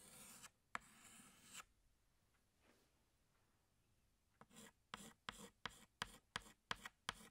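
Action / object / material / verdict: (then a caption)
scrape / chalk stick on blackboard / chalk / none. A pink chalk stick held in the fingertips draws on a flat black chalkboard, making dry, bright scratching strokes. Two longer rubs come first, then a near-silent pause, then eight short, quick strokes in a row.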